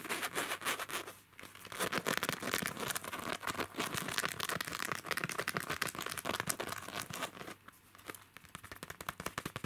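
Fingertips and nails scratch and tap the surface of a hollow, soft zippered pencil case made of glossy printed faux leather (PVC) with a shiba dog pattern. Dense, dry, crackly scratches and quick taps run throughout with a bright, crinkly edge. The sound briefly quiets twice before resuming.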